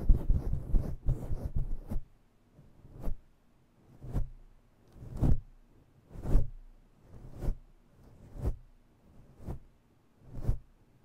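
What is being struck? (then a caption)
Synthetic fur microphone windscreen. Long nails scratch rapidly across a grey and black synthetic-fur microphone windscreen, making dense, muffled scratching that rumbles deep and low. After about two seconds of continuous rubbing, it settles into seven separate brushy strokes with short silences between them.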